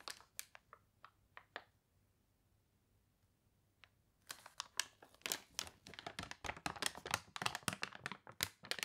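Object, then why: Thick glossy paper catalog. Fingernails scratch a thick, glossy paper toy catalog with wrinkled pages, then a page is turned and smoothed down. A few sharp, bright scratches open the clip, followed by a quiet pause, then a long run of dense, crisp crinkling and crunching with little low end.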